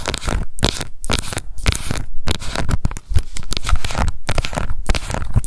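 Long nails scratch the base, printed label and rim of a small round pink plastic cushion foundation compact held in both hands. The result is a dense, continuous run of dry crackly scratching and ticking with a heavy low-end thump, steady throughout with only brief dips.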